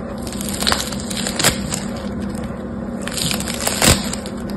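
Yellow-green foam bead slime (floam) is torn into pieces and pressed back into one lump with fingertips and nails. Dense crunchy, crackling squeezes rise into a few sharper, brighter pops over a steady low hum.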